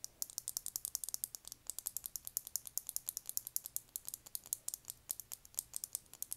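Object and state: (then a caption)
Lip gloss tube tapped with nails. A small rectangular clear lip gloss tube, full of copper gloss and topped with a silver cap, is tapped along the cap and body with long nails. About fifty rapid, crisp, high-pitched clicks follow one another with almost no ring and very little low end.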